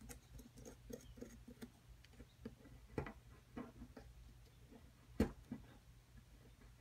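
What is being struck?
Plaster excavation block scraped with a metal pick.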